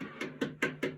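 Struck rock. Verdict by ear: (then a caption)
Resonant. A stone is struck repeatedly and rings with a drum-like tone. It gives five distinct knocks, evenly spaced about 0.2 seconds apart, each with a short, bright ring centered around a mid pitch.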